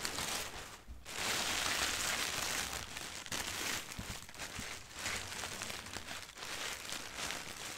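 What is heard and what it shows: A sheet of thin white printed tissue wrapping paper lies flat on a carpet and is rubbed and scratched with long painted nails and fingertips. The result is a steady, bright crinkling and rustling hiss that swells and fades in waves, with a few soft scratches between them.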